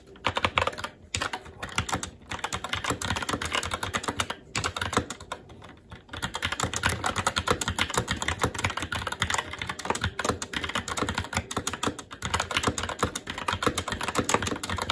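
Both hands' fingertips type continuously on a SteelSeries Apex 7 TKL mechanical keyboard with Red switches, black plastic keycaps on a metal plate, and a hollow RGB-backlit case, resting on a desk. Rapid, short, clacky keystrokes with a mid-range click tumble over one another, with a few brief pauses in the first six seconds before settling into a steady, unbroken typing stream.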